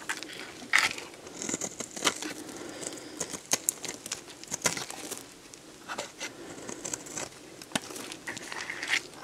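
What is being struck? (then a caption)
Bar of soap. A metal box-cutter blade scrapes crumbly shavings off a solid, dried, hand-sized green bar of soap. The cuts make bright, crisp crackling and crunchy scraping sounds in quick, uneven bursts, with sharper louder snaps scattered throughout.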